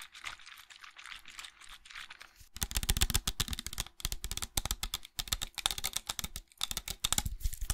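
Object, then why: Small hollow plastic bottle. A small hollow white plastic bottle or tube, fill level not visible, is held close to the microphone and worked with fingernails on ringed fingers. Soft, scratchy rubbing for the first two and a half seconds gives way to rapid, bright, dry tapping clicks, ringing near 3.6 kHz. The taps come in bursts broken by brief pauses near 4, 5 and 6.5 seconds.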